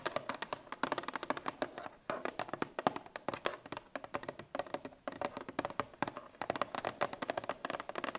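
Long painted fingernails of both hands tap rapidly across a sealed, apparently full 1 L Parmalat milk carton made of paperboard laminate, lying on its side on a wooden table. The taps are dry, crisp clicks with a mid-pitched tone, little low end and no ring. They come in quick, uneven flurries with a brief pause around two seconds.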